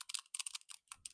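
A new PCV valve for a 1968 Mustang's 302 V8 Small Block Ford is shaken by hand for comparison after the old one, giving a lively, free rattle. The quick, bright clicking bursts are mostly high-pitched. The rattle shows the new valve moves freely, as it should.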